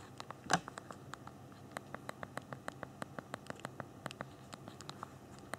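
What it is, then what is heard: Phone keyboard with plastic keys. Thumbs type on the small plastic keys of a handheld BlackBerry phone's physical keyboard. About 28 short, dry clicks come in a quick, uneven rhythm, with one louder tap near the start. Each click has a mid-pitched body with a bright edge and dies away almost instantly over a faint steady hiss.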